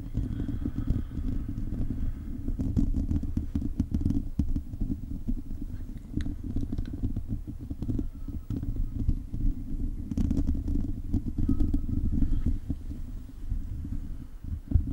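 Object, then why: Metal mesh microphone grille. A hollow silver metal mesh microphone grille is scratched with the fingertips and short nails of both hands. The result is a steady, dense scratching and crackling with a deep, boomy low rumble underneath and faint brighter ticks throughout.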